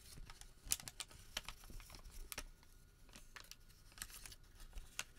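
A crumpled white thermal paper receipt is rubbed and then folded into a small packet with the fingertips. Quiet, bright crinkles and sharp, brief crackles come in irregular bursts, with soft rustling in between as the paper is creased and folded.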